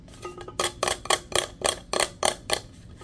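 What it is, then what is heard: Insulated steel tumbler tapped. Fingertips and nails tap and rub a hollow, teal powder-coated insulated steel tumbler with a straw. The result is a fast, steady run of sharp, bright clicks with a short metallic ring, over soft rubbing between the taps.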